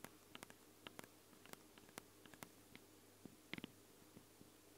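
Long blue nails tap and scratch directly on the two X-Y microphone capsules of a Tascam handheld recorder, small and hollow with ridged metal grilles, red rings and a black plastic body. About sixteen sharp, dry clicks with bright crackle and almost no ring pop out over a quiet, steady low hum and faint scratchy texture. A small cluster of louder, knocking taps lands near the end.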